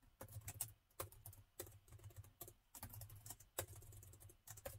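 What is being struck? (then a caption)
Plastic laptop keyboard keys. Both hands type continuously with the fingertips on the plastic chiclet keys of a metal laptop. Quick, light clicks and taps patter in uneven bursts, with bright key transients over a steady low hum.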